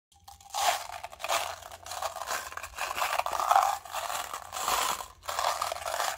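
A small, hollow clear plastic cup partly filled with small silver metal mixing balls is held in the fingertips and shaken and swirled. The balls rattle and scrape around the cup in a series of bright, crunchy bursts that swell and fade with each swirl.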